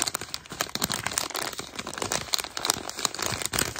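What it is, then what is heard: Foil-lined plastic snack bag. A hand-sized, seemingly filled black and orange Italian cheese snack bag made of foil-lined plastic film is held in both hands and crinkled and rubbed with the fingers and palms. It gives a steady, dense stream of bright, crisp crinkles and sharp crackles with very little low end, each snap dying away almost instantly.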